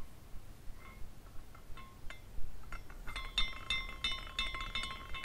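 A small glass carousel figurine spins while its glass horses clink against the poles, giving light, irregular tinkling chimes with bright, ringing overtones. The clinks grow denser and louder in the second half, over a low background rumble.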